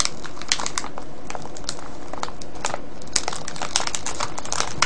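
Fingertips press, scratch and crinkle a clear cellophane bag full of foil-wrapped candies tied with a ribbon. The result is a continuous, dense crinkling with frequent sharp, bright crackles over a steady low rumble, all at an even level.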